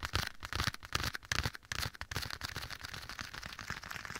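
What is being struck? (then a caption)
Leather glove. Bare fingertips tap and scratch the soft surface of a black leather glove worn on one hand and held against the right ear of a binaural microphone, with an echo effect added. Quick, irregular taps with low thumps and bright, crackly scratching come in louder bursts over the first two seconds. They then settle into a steadier, softer stream of scratchy rustling.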